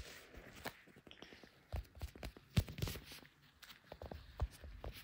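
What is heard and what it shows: Leather-gloved fingertips rapidly tap the back and clear plastic case of a small, solid handheld smartphone, seen in a mirror, which is also doing the recording. The taps land as a quick, uneven run of short, dull, low thumps with faint bright clicks. Each one dies away almost instantly.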